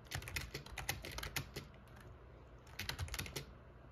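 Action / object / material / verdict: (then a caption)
tap / plastic computer keyboard / plastic / none. Fingertips type continuously on the keys of a backlit black plastic gaming keyboard. A quick run of sharp, bright clicks with low thumps is heard, then a brief lull before a second burst of keystrokes.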